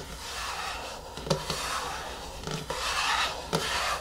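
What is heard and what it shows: Long fingernails slowly scratch and rub the top of the screw lid on a medium yellow plastic hair-mask jar resting on a wooden table. A steady, bright, rasping scrape runs throughout, broken by five short, sharp taps.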